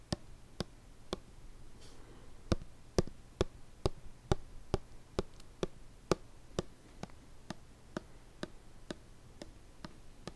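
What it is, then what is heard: Plastic lotion bottle. Fingertips and nails tap a small, hollow white plastic lotion bottle with a blue cap held close to the mic. About twenty short, dry, clicky taps come at a slow, uneven pace, each dying away almost instantly over a faint low hum.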